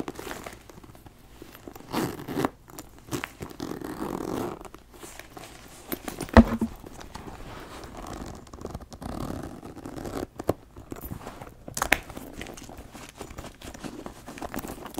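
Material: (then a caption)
Leather. Fingers rub and scratch the flap of a brown leather backpack and pull its zipper. The result is soft, close rustling and scratchy friction, with quick zipper rasps and a brief sharp snap partway through.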